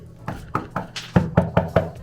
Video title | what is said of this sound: ep.59 화장실 방수공사.. 잘못된 타일 시공의 결과 (시흥시 은행동 천장누수) | 이 주변 을 두드려 보면 속이 빈 소리 가 나 는 타일 이 많습니다